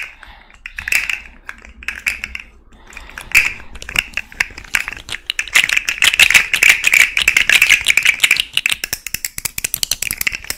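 A small rainbow segmented plastic fidget slug with hollow, jointed segments is handled, then held dangling while long nails scratch and flick its segments. This produces dense, bright, rattling plastic clicks and taps that start sparse and soft, then build into a fast, steady clatter centered around 2.4 kHz, with almost no low end.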